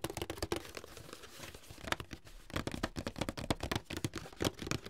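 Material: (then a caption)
Cardboard. Fingertips tap the sides of a medium, closed, hollow white paperboard box held upright in both hands. They make a quick, irregular run of dry, hollow thumps with a papery crinkle and no ring. A short lull falls midway before the tapping picks up again.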